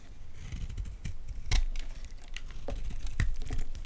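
A utility knife blade cuts into a solid white Palmolive bar soap held in the hands, cracking off chunky flakes. Dull, low thuds mix with crisp crackling and a few sharper snapping cracks as pieces break away.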